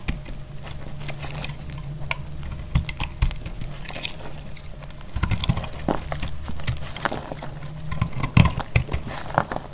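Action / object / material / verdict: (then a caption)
scrape / soap bar cut with a metal blade / soap / none. A solid, dry green-yellow soap bar is sliced with a metal utility blade, giving a run of short, dry cracking snaps and crisp ticks as the blade cuts through. The snaps cluster more densely toward the end, over a steady low hum.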